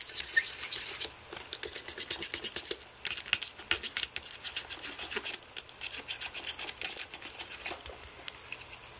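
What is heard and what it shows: Fingertips press and rub Blu-Tack over the plastic keys of a white aluminium-framed computer keyboard to clean it. The result is a dense run of quick, clicky, scratchy taps and rubs, bright and dry with almost no low end or ring.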